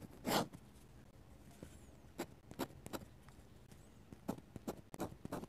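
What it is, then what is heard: Dip pen scratching on a sketchbook page. A metal-nib dip pen, held in the fingers, scratches ink lines onto a white paper page of an open sketchbook. A longer scratchy stroke opens the clip, followed by a series of short, dry, bright scrapes separated by quiet pauses.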